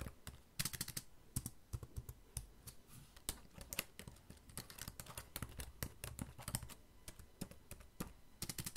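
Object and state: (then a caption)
Plastic laptop keyboard. Fingertips type steadily on the plastic keys of a black laptop keyboard. Quiet, rapid clicks and taps come in an uneven rhythm, each a short dry tick with a low thump and a bright edge that dies away at once.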